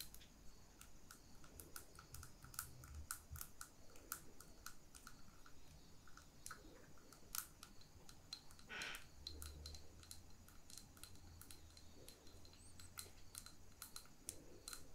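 A small lit glass jar candle with twine and ribbon at its neck is tapped with long fingernails on its glass wall. Quick, bright clicks ring briefly against a soft low hum.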